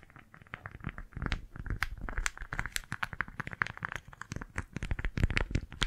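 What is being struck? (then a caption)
Beeswax-coated cotton food wrap. A small pink floral beeswax-coated fabric food wrap is cupped and scrunched in both hands, then gripped and crinkled with fingertips and long nails. A steady run of quick, dry crinkles and crackles follows, each a short snap with a soft low thump beneath and bright crisp edges. There is no ringing between them.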